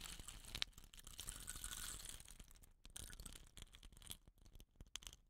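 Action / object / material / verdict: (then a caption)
shake / bamboo rain stick / bamboo / none. Fingertips with short nails rub and tilt upright a hollow, dot-painted bamboo rain stick with a rattan end cap. A dense, bright rustling hiss builds for the first two seconds, then thins into sparser dry clicks and rattles that trail off quietly.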